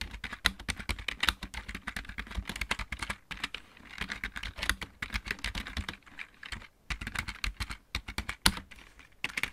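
Fingertips type on the main keys of a full-size backlit plastic mechanical keyboard, then one hand moves over to the right-side keys. Rapid, uneven clacking taps are heard, each a short, bright click over a soft low thump, with brief pauses between bursts.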